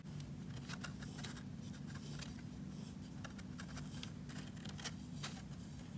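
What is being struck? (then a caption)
Block of magnesium gym chalk. A thin, pointed metal tool scratches and engraves letters into a solid, palm-sized block of white CAP brand magnesium gym chalk that sits in its opened paper wrapper while hands hold it steady. Crisp, bright scraping ticks come in quick bursts over a steady low hum. Powdery grooves are left in the soft chalk surface.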